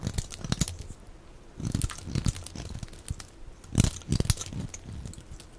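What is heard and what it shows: A utility knife blade scrapes and shaves thin flakes off the edge of a hand-sized, solid bar of dry light-blue soap held in the hand. The result is a series of crisp, crinkly scraping and crunching strokes with brief bright hiss and low thuds. The strokes come in irregular bursts with quieter gaps.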